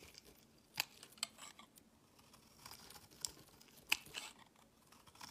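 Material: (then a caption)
Soap. A solid green rounded bar of soap, held in the fingers, is carved and scraped with a metal blade, its shavings falling onto a woven mat. Quiet, dry, bright scraping and crisp, crunchy cuts come in short bursts, with a few sharper snaps standing out over a soft hiss.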